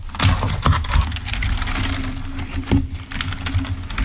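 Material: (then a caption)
Plastic. Fingertips of both hands type rapidly on a full-size, wired, black plastic Microsoft membrane keyboard lying on a white table. The result is a stream of quick, dull key clicks with bright ticks on top, over a steady low hum and a faint sustained tone.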